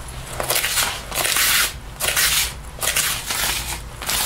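A sticky paper lint roller held in the hand is rolled and rubbed over the sleeve and chest of a black faux leather jacket being worn. Bright, sticky crackling swells in repeated bursts as the tape lifts off the synthetic leather, with short quieter gaps between strokes.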